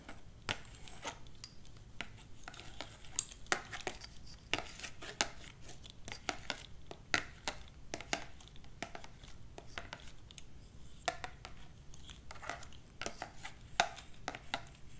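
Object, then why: Hardcover book with glossy cover, tapped with plastic nails. A solid hardcover copy of "Symphony" with a glossy printed cover, held in one hand, is tapped and scratched on its cover by long black plastic claw-like finger extensions on the other hand. Quiet, irregular, sharp, bright clicks with very short decay are heard over a soft scratchy rustle, some taps louder than others.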